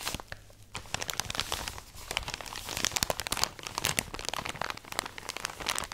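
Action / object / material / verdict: scrape / plastic bag of cotton pads / plastic / none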